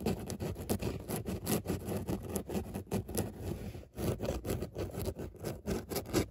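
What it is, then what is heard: Fabric car seat upholstery scratched. Long nails scratch back and forth across a padded grey fabric car seat with raised embossed dots. The result is a steady run of short, muffled rasping strokes, mostly low and dull, with a brief drop in sound just before the four-second mark.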